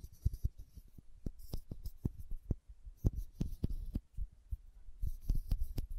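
Long nails tap the red plastic cap of a small, filled glass condiment bottle and scratch its label. A quick, uneven series of short, dull, low-heavy taps dies away almost instantly, with faint bright scratching in bursts between them, all at a quiet level.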